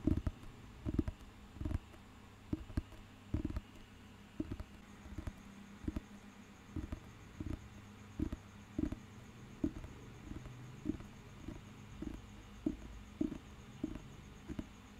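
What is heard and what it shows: Fingertips tap and scratch the glossy cover of a thick, solid paper dictionary book held in the hand. The result is a steady series of soft, dull, low taps with very short decay, separated by faint scratching. A faint, steady high tone sits in the background.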